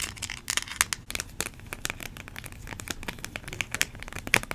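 Long nails tap and crinkle a small, hollow, clear plastic blister pack. Many quick, dry, bright clicks and crackles come one after another with almost no ring, over a faint low rumble.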